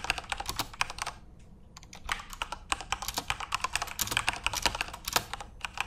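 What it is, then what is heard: Plastic mechanical keyboard. Both hands tap rapidly with their fingertips on a full-size Corsair RGB-backlit mechanical keyboard with plastic keycaps resting on a desk. The result is a fast run of bright, crisp plastic clicks and clacks that die away almost instantly, with little low end. There is a brief lull in the typing just before the two-second mark.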